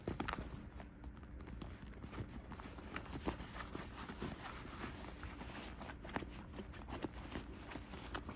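With the flap of a cream quilted faux leather handbag lifted, fingertips tap and press the quilted front panel around its metal magnetic snap. The result is a quiet run of soft, dull, low taps with little ring, over a faint steady hiss.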